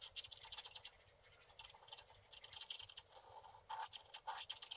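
A wooden stick held like a pen scratches the sky area of a flat, wax-coated scratch art card. Quick, dry, bright scratching strokes come in short bursts separated by brief quiet pauses, with almost no low end.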